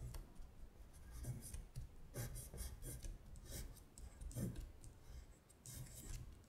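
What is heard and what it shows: Long stiletto acrylic nails trace the words on a thin printed paper worksheet of Korean colors lying flat on a glittery surface. Quiet, dry scratching strokes come in short bursts of bright, papery rasp over a soft low rumble.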